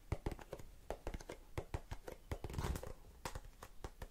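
Long nails tap and scratch the sides and lid of a small blue and clear plastic tub full of cotton swabs. A quick, uneven run of short, dull, low taps with little ring is heard, with a brief stretch of denser scratching just past the middle.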